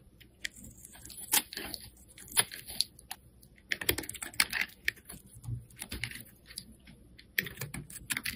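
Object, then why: Bar of black soap shaved with a metal blade. A metal blade shaves slices off the surface of a solid black soap bar held in the hand. The result is a quick, uneven series of short, dry, crisp scraping and crackling bursts, bright and papery, each cutting off almost instantly against near silence.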